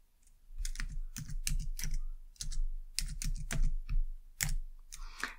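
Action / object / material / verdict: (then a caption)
tap / plastic computer keyboard / plastic / none. A short burst of typing on a white low-profile plastic computer keyboard, struck with long dark-painted nails and fingertips. Quick, dense clicks come in uneven clusters, each with a soft low thud under a bright tapping edge. A brief, softer rustling sound closes the clip.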